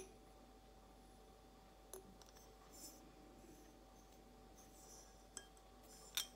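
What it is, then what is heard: Glass carafe vase, empty. Long blue acrylic nails slowly tap a clear, hollow, empty glass carafe-shaped vase held in the hand. A few sparse, quiet taps give short, bright clinks with a thin glassy ring near 3.6 kHz that fades almost at once, over a faint steady background hum.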